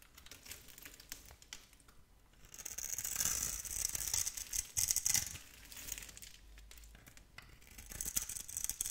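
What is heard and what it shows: A metal blade scores a grid into a solid, palm-sized oval blue bar of soap held in a long-nailed hand, then scrapes off small cubes. Dry, crisp scratching and crumbly scraping with a bright hiss repeat in quick, uneven strokes, growing louder and denser through the middle before easing back to lighter scrapes.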